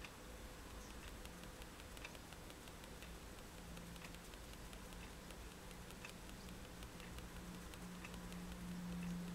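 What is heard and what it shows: The metal tip of a fine-liner pen, held in the fingertips, taps repeatedly on a white paper page of a spiral sketchbook lying flat on a table, stippling dots. Soft, dry, bright little ticks come at an uneven, fairly quick pace. A quiet, steady low hum near 200 Hz runs underneath throughout.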